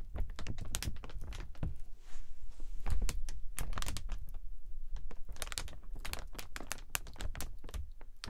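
A clear plastic umbrella is held open and tilted while fingers handle and tap its thin plastic canopy, with the metal ribs visible. Quick, dry taps and crinkles come in an irregular stream of short clicks, each with a low thump underneath and a faint bright tick on top.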